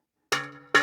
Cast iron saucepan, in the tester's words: Hear that sound? That's a cracked sound.